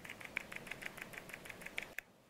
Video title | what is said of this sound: Full Review SABBAT Vooplay! TWS Half Ear Murah Pesaing Airpods? | dia masih ada sesuatu yang bergerak-gerak. Maksudnya nggak sesolid itu.